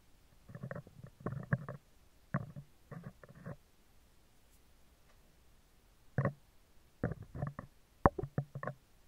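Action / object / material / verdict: tap / steel mesh microphone grille / steel mesh / none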